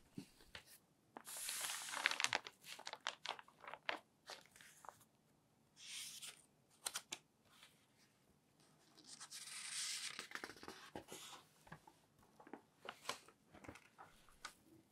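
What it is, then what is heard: Newsprint newspaper. Palms and fingertips rub across the pages of an open newsprint newspaper spread flat, then a page is turned. Bright papery swishes swell in broad bursts, with quick crinkles and crackles in between. The rustling is quiet and stops dead, with no ring.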